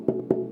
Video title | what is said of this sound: Beowulf Discussion with Benjamin Bagby | it's hollow inside so for instance if I tap on it you hear that it's a hollow plank of wood